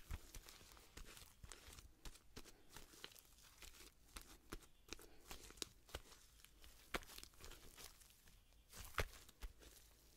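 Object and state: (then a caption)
Homemade slime. A soft, solid, hand-sized sheet of pink homemade slime is held in both hands away from the microphone while long-nailed fingertips stretch, squeeze and squish it. Quiet, crackly tearing and crinkling sounds are broken by many sharp, bright little pops and snaps over a low, soft rumble.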